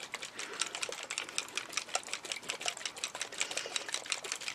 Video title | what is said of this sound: Tutorial on Colouring Ribbon using Mica Sprays | you can hear inside there's like little tiny ball bearings, little balls, and that just helps activate the mica